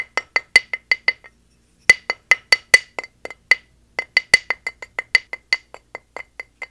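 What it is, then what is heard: Plaster dig block knocked with a mallet. A square, solid plaster gemstone dig block with a stone-texture top, lying on a towel and held steady by hand, is knocked repeatedly with a small wooden mallet. The knocks are short, dry, bright clicks centered around 2 kHz that die out almost instantly, with a brief pause after the first burst. The taps then continue at a steady, quick pace.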